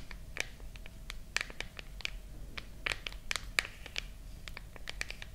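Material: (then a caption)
Glass, metal. Long nails scratch and tap the back of a silver glass and metal smartphone held close to the mics. A quick, uneven run of sharp, dry clicks and brief scratches stands out, each dying away at once, with the brightest energy around 2.3 kHz over a faint low rumble.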